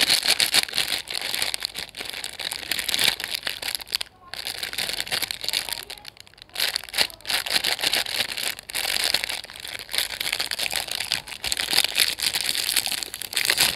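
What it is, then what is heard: Plastic-wrapped cookie pack. Fingertips of both hands squeeze and crinkle a hand-sized sealed Chocolicious chocolate chip cookie pack, full of cookies, in a crinkly printed plastic film wrapper on a plain white surface, then pinch and twist its end seal as if starting to tear it open. The result is a dense, bright, continuous crackling crinkle with almost no low end, broken by brief quiet pauses around 4 and 6 seconds before the crinkling resumes.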